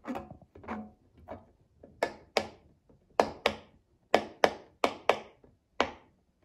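A child presses the hollow bubbles of a rectangular rainbow silicone pop-it fidget toy with a mint-green base, resting on a glass table, popping them with her fingertips. Short, dry, hollow pops sound one after another at an uneven pace. The first few are soft, and later ones are sharper and brighter, each dying away almost at once.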